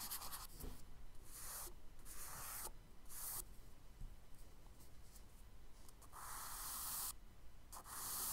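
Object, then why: Charcoal stick on kraft paper sketchbook page. A charcoal stick held sideways rubs and shades across a kraft paper sketchbook page in back-and-forth strokes. Each stroke gives a soft, bright, dry scratching hiss with brief quiet gaps between passes, over a faint low background rumble.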